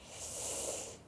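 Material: Nothing is struck.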